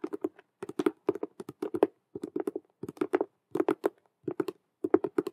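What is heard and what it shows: Long nail tips tap rapidly on the front face of a hollow, cube-shaped patent faux leather (vinyl) Rubik's cube handbag with stitched glossy squares. About 32 quick, dry clicks come in short bursts separated by brief pauses. Each has a hollow mid tone around 370 Hz that dies away almost at once.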